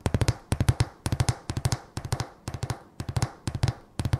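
A solid decorative sign of thin painted wooden slats, held in the hand, is tapped and scratched with long fingernails. Quick bursts of three or four dry, hollow-sounding taps repeat about every half second, 29 taps in all, each with a low woody thump near 117 Hz that dies away almost instantly. Faint bright clicks ride on each tap.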